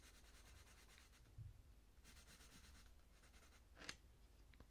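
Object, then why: Coloured pencil on a thin paper page. A purple coloured pencil rubs and scratches over the thin paper page of a colouring book while shading a flower centre. Quiet, bright, rhythmic scratchy strokes come in bursts over a low background hum, with a soft thump and a sharper tap standing out.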